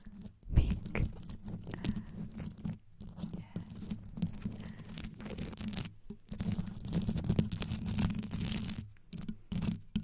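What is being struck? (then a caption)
Rhinestone-studded metal microphone grille. Long yellow nails scratch and tap the rhinestone-studded metal grille of a black condenser microphone. The result is a fast, continuous run of close, dense scratching and tapping, with most of the energy low and muffled and brief bright crackles on top. There are short pauses of near silence between bursts.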